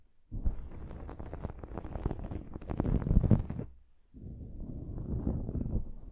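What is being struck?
Foam microphone windscreen.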